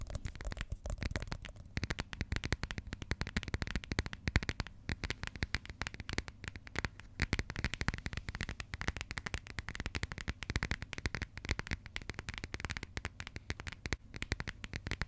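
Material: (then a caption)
Coated cardboard. Long nails rapidly tap and scratch the coated cardboard cover of a small, flat, closed burgundy passport held in the hands. The clip is a dense, steady stream of quick dry clicks and crackly scrapes, each dying away almost instantly, with a soft low thump under bright scratchy edges.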